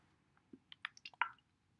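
A plastic bottle of thin, runny acrylic gloss medium is shaken, and the liquid inside sloshes in a quick series of short, wet squishing splashes. The sloshing is audible because the medium is liquid rather than thick.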